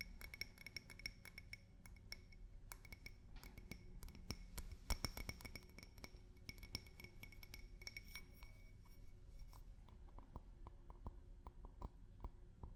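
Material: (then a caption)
Glass. A drinking glass is tapped with fingers and nails in quick, uneven bursts of light clinks. Each tap is a short, bright chink with faint ringing tones around 2 kHz over a low, steady background hum.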